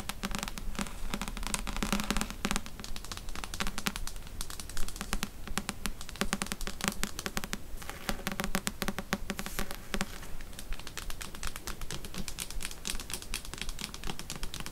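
Long fingernails tap rapidly along the glossy card spine and page edges of a thick paperback novel, Outlander, held in the hand. The dense, uneven stream of short, dry clicks carries a bright edge over a soft low body, and each tap dies away almost instantly.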